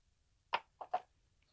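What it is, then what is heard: Oil pump assembly with oil sloshing inside. A small metal oil pump assembly, just removed from a 7.5-ton Copeland semi-hermetic compressor, is shaken by hand so that liquid, likely oil, sloshes around inside it. Three short, muffled sloshing bursts are heard, centered in the midrange around 900 Hz, with almost no ring after each one.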